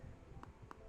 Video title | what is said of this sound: Asus ROG 2 Tencent Edition Full Review | there is a bit of flex to it when I'm tapping it so definitely sounds like plastic when you tap it doesn't sound like glass